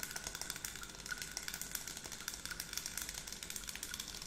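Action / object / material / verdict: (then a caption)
tap / small plastic pump bottle of liquid, tapped and scratched with long nails / plastic / none. Long acrylic nails rapidly tap and scratch along the body of a clear 100 ml scented water bottle with a pump cap, filled with pink liquid. The result is a quiet, continuous stream of bright, crisp clicks and scratchy friction with very little low end, each tap dying away almost instantly.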